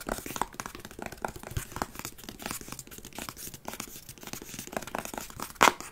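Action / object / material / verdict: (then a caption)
scrape / faux-leather covered wooden chest with metal studs / faux leather / none. A large hollow treasure-chest box, faux-leather covered wood with metal studs, is held in the hands and scratched with fingernails. Continuous rough, crackly scratching rasps on and on with many quick scrapes, ending in one louder, brighter scrape near the end.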